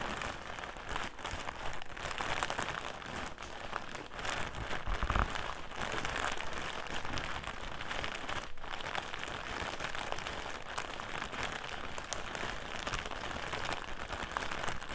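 A clear plastic bag filled with cotton pads lies on its side on a table while fingertips and nails crinkle the plastic and rub across it. The result is a steady, dense stream of crackly, rustling crinkles with bright edges and a low, soft undertone, continuous throughout with no distinct separate hits.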